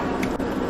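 A worn steel front wheel bearing on a car lifted at the front, spun by hand while the shock absorber is held, gives a steady low rumbling hum centred around 240 Hz with a brief dip near the middle. The noise and vibration are symptoms of the worn bearing, which should be replaced before it fails completely.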